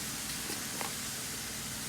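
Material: Nothing is struck.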